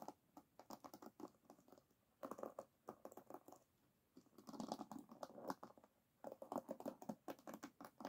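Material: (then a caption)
Bamboo, wood. Long nails and fingertips scratch across the wooden pins of an oval bamboo paddle hairbrush, set in a black rubber cushion and lying flat on a table. Quick, dry clicking and scratching come in soft, dense bursts separated by brief pauses. The ticks are bright, with a woody mid-range body.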